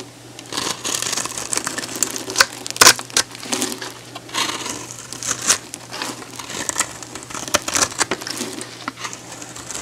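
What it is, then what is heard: Bar soap being cut. A hand-sized, solid pink oval bar of soap, held in the hand and scored with a grid of cuts, is shaved with a metal box-cutter blade. It makes a steady run of bright, dry crackling and crunching scrapes with sharper snaps along the way, over a faint low hum. Crumbly pieces break off the bar.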